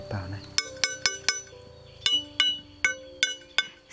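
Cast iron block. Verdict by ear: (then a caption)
Hard. A cast iron block made from auspicious materials, heated in a fire pit for at least 48 hours to refine its grain, is tapped nine times to test it before being cut up for forging. Each tap gives a crisp, bright, high-pitched clink with clear tones that fade quickly, over a faint low background. The clear ring shows the iron is hard.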